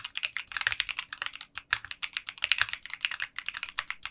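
Fingertips type continuously on a 60% mechanical keyboard fitted with translucent pink polycarbonate keycaps in a clear case. The result is a rapid, steady stream of short, bright clacks with almost no low end, broken by brief pauses.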